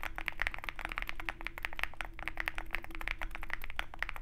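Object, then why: Mechanical keyboard with metal case and plastic keycaps. Fingertips of both hands type rapidly on a compact 65% Zoom65 mechanical keyboard with a dark metal case and white and black plastic keycaps. A dense run of short, crisp clacky taps with a bright click near 2 kHz falls over a steady low hum, each tap dying away almost instantly.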